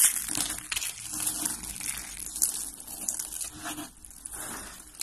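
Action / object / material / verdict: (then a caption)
scrape / soap flakes / soap / none. Hands squeeze and crush purple and lilac dry soap flakes and curls in their fists. The result is a steady, dense, bright crunching and crackling that swells and fades over about five seconds, with little low end.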